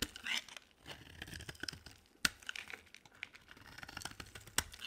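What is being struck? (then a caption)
Bar of soap cut with a knife blade. A solid rectangular bar of dry green soap with white stripes, held in the hand, is carved with a utility knife blade. Quiet, bright scraping and crumbly crackling repeat irregularly, broken by a few sharp, short snaps as pieces break away.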